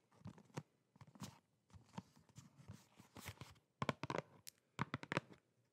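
A small, flat, hollow printed cardboard product box is held in both hands and tapped and scratched with long painted nails. Quick bursts of dry, crinkly tapping and scraping come in clusters with brief pauses between them. Each sound stops almost instantly with no ring.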